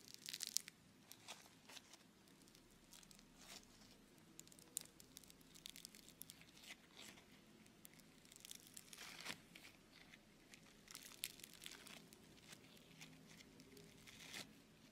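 A lump of blue beaded foam clay (Floam), held in both hands, is pressed, kneaded and pulled apart by fingertips and thumbs. It gives off quiet, bright, crisp crackling and tearing pops with a soft crinkling texture throughout, and slightly louder bursts near the start and middle.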